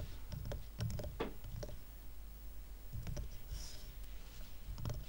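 Fingertips and nails tap the sides of a small stack of dark, solid wooden coasters tied with twine. The sound is quiet, scattered, short clicky taps that die away quickly over a steady low rumble, with a brief bright hiss partway through.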